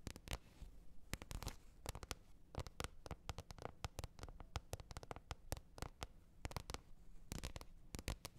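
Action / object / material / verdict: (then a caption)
tap / large flat plastic lid / plastic / none. Long nails tap and scratch the top surface of a large, flat, hollow green plastic lid lying face up. Dozens of quick, sharp, dry clicks with almost no ring sound over a low, hollow rumble and faint scratching between them.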